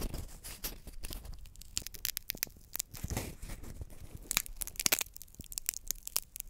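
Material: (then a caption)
Peanut shell. A single small roasted peanut in its dry, papery, hollow shell is held close to the mic and cracked and pulled apart by fingertips until the kernels inside show. Quick, dry cracks and crisp snaps, bright and sharp with no ring, come over a soft crumbling rustle as the shell gives way.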